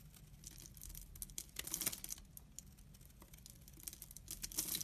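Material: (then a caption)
Soap. A utility knife blade scrapes crumbs off a solid brown laundry soap bar with a stamped face, held in the hand. Quick, dry scraping strokes produce bright, crumbly crackles and a papery tearing hiss, with louder bursts near the second mark and the end, over a faint low hum.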